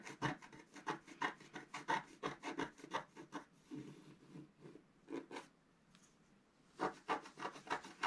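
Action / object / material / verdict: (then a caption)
scrape / scratch-art card scratched with a wooden stylus / coated paper / none. A thin wooden stylus held in the fingers scratches away the black coating of a flat scratch-art card page with a colourful underwater motif, lying on a table while the other hand holds the page down. Quick, uneven rasping scratch strokes follow one another at about three per second, dry and papery with a mid-range body around 870 Hz and bright edges. A short quiet pause comes near the end before a final burst of scratching.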